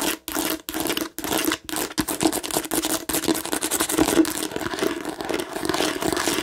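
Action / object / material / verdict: scrape / plastic novelty bottle / plastic / none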